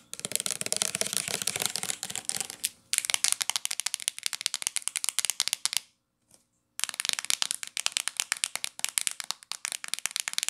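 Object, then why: Plastic shampoo bottle. Long acrylic nails rapidly tap and scratch a hollow, medium-size, teal translucent plastic L'Oreal shampoo bottle held in the hands, working over both the body and the flip cap. The result is a dense stream of bright, crisp clicks and scratchy crackles with almost no low end, broken by a brief near-silent pause around the six-second mark before the tapping resumes.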